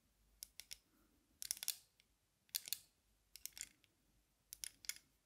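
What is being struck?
Metal-frame sunglasses with lenses.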